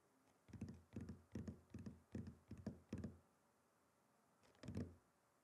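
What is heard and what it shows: A wooden chopping board is tapped and knocked with a run of quick, dull, low thuds that die away almost at once. After a short pause, a soft tap is followed by one last firmer knock.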